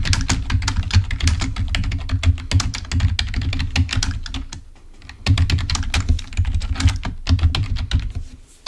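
Fingertips of both hands type rapidly on a full-size black plastic Microsoft keyboard resting on a table, producing a dense stream of short, dull plastic taps and clicks with a thumpy low body. The typing eases into a brief lull around the middle, then resumes at a steady pace before tapering off at the end.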